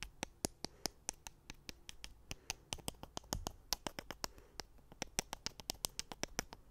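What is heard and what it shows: Two thin, solid wooden sticks, chopstick- or skewer-like, are held in the fingers and tapped and clicked together close up in front of the microphone. About 36 sharp, dry clicks ring bright and high and die away almost instantly. They come in a quick, uneven rhythm over a faint low hum.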